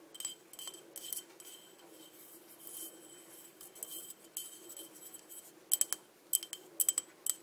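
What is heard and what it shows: A small, empty green crackle glass cup is held and tilted while long dark nails tap on its rim and body. Quiet, bright clicks and light taps carry a faint high glassy ring, and a few sharper, louder taps come near the end.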